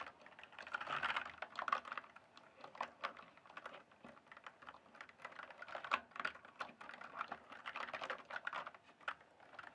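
Fingertips type and tap on a full-size RGB-backlit plastic mechanical computer keyboard, with hollow keys on a solid base. A steady run of quick, clicky keystrokes sits in the mid range with bright edges and almost no low end. Denser bursts come in places, and each strike dies away almost at once.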